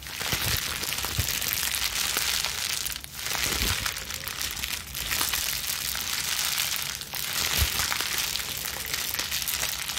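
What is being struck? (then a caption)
Plastic bubble wrap sheet. A small ball of plastic bubble wrap sheet is squeezed and released in the hands and scrunched with long nails. Dense, bright crinkling and crackling runs almost continuously, with occasional soft low thumps and brief dips in loudness between squeezes.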